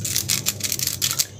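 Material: Fried potato.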